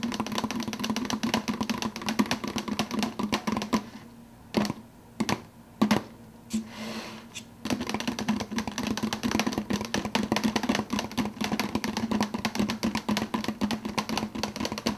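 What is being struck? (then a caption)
Plastic soda cup with plastic lid. Fingertips rapidly tap the top of the clear plastic lid on a large, empty, hollow, translucent blue plastic soda cup, making a quick, dense patter of light, hollow clicks with a low resonant tone. The tapping slows to a few separate taps in the middle, then resumes at full speed until the end.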